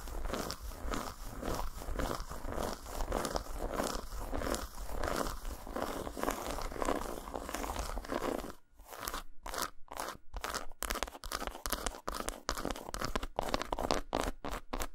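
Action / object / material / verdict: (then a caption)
scrape / segmented dark chocolate bar / chocolate / none. Long nails scratch and tap a solid, segmented dark chocolate bar lying flat on a towel. For about the first eight seconds there is steady, crunchy scratching. After that come sharp, bright taps separated by short silences.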